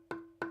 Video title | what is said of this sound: Making a Wand , Twin Wands | It sounds like metal almost. It is very, very dense, very heavy, and extremely hard to carve